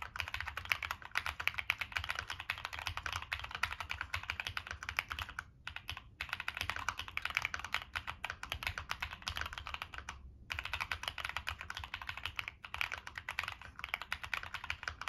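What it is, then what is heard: Mechanical keyboard, metal case with plastic keycaps. A Monsgeek M1 mechanical keyboard with a black aluminum case, plastic keycaps and NK Cream switches is typed on continuously with fingertips. Rapid, dense, bright clacks run throughout, with brief pauses near 5.5, 6 and 10.4 seconds. Each keystroke is short and dry with almost no ring.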